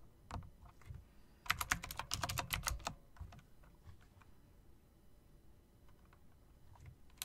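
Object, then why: Typewriter-style mechanical keyboard with plastic keycaps and metal rims. A backlit typewriter-style mechanical keyboard with round plastic keycaps set in metal rims is typed on with the fingertips and long dark nails, mixing key clicks and presses. A few scattered clicks give way to a dense, louder burst of sharp, bright clacks with a low thump under them, then the typing thins out into sparse, quieter taps. Each click is short and dry with almost no ring.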